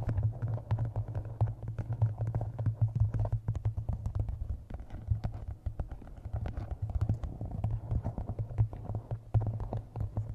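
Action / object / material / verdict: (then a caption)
tap / hardcover book / cardboard / none. Fingertips and nails tap the top edge and cover of a map-covered hardcover book resting on a microphone. A dense, continuous run of quick, dull taps comes through as boomy low thumps with a steady low hum underneath. Each tap dies away almost instantly.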